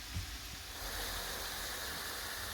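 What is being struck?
Nothing is struck.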